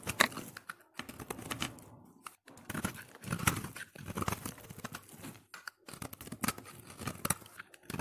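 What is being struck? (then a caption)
Bar of soap scraped with a knife blade. A solid orange soap bar held in hand is scraped with a utility knife blade, shaving off curls of soap. Dense, crisp scraping and crackling strokes come in bursts with brief pauses, spanning low body to bright highs with no ring afterward.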